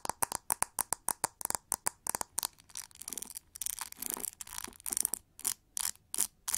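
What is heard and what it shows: Long nails tap and scratch the pink, textured, hollow plastic back of a pin-bristle hair brush. A quick run of sharp, hollow clicks with a bright top gives way to rougher scraping and scratching in the middle. The clip ends with another string of spaced taps.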